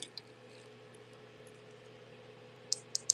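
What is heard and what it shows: A milk glass brooch is tapped five times, giving short, bright, high glassy clicks over a faint steady hum, two near the start and three sharper ones at the end. The clicking sound confirms the brooch is real glass.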